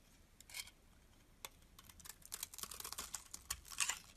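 A hand-sized, solid white-cream embossed bar of soap held in the palm is shaved and scraped with a metal utility blade, curls peeling off. Quiet, bright, crisp scraping strokes come in short bursts, growing denser toward the end, with almost no low end.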